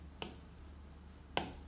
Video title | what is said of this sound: 2025 Best iPad for Art: Pros and cons for each model | when you tap on the display, the tapping sound is hollow.